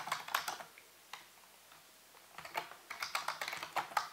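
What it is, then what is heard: Plastic computer keyboard being typed on. Fingertips and nails type and tap on the keys of a full-size black plastic computer keyboard with a hollow housing. Quick bursts of bright, clicky keystrokes come in with a near-silent pause in the middle, and the tapping resumes in a denser run. Each click is short and dry with almost no ring.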